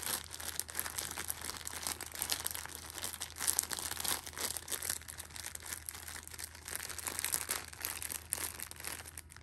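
A Shopkins pocket tissue six-pack wrapped in clear plastic film is held in hand while a thumb and red nail squeeze and scratch the film. Dense, bright crinkling and crackling runs continuously for the whole clip, with short sharp snaps rising out of it, over a faint steady low hum.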